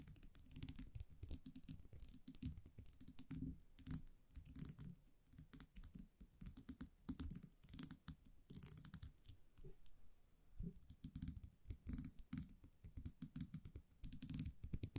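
A small wire champagne cork cage with a round metal cap is held in the fingers and tapped and scratched with long nails. The result is a quiet, steady stream of rapid, dry clicks and light scratches, almost like typing, with a soft low body and bright ticking edges that die away instantly.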